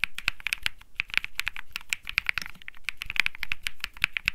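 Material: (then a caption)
Plastic. Fingertips type continuously on a cream mechanical keyboard with plastic keycaps. Each key press makes a quick, bright click with a short low thump beneath it, and the presses come in a rapid, uneven stream of many keystrokes.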